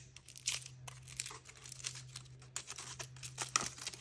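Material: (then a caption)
Aluminium foil. Fingertips and nails crinkle and tear the thin printed aluminium foil wrapper off a hand-sized chocolate egg held in the hand, exposing the chocolate underneath. Dense, bright crackling and sharp tearing bursts run throughout over a steady low hum.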